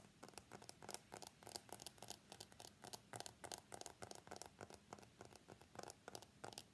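Fingernails tap and scratch the glass back and steel frame of a white iPhone X held upright on its edge. Quiet, rapid, irregular clicks and short scratchy strokes follow each other closely, each bright and dry with almost no ring, over a faint low hum.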